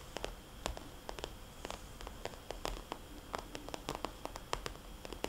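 Long nails tap and trace circles on a small, glossy red polka-dot vinyl cosmetics bag with a label on the back. The taps are quick, sharp clicks with a soft, hollow tone and bright edges, scattered irregularly over a quiet, steady hiss with faint rustling. Each tap dies away almost at once.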